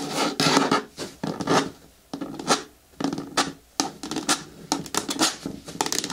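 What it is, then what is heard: Hard plastic bin scratched with nails. Long nails scratch the sides of a large, hollow, green hard plastic bin with a lid, making irregular bursts of dry, raspy scraping. Each stroke carries a faint hollow resonance from the bin and stops quickly with short pauses between.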